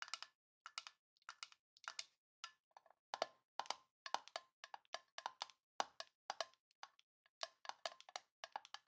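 A small, hollow, rectangular printed tin box with a Grinch design is held in both hands and tapped and scratched with long painted nails. Quick bursts of sharp, bright clicks and ticks come in irregular clusters, with a faint metallic tone around 800 Hz to 1 kHz that dies away almost at once and no low end.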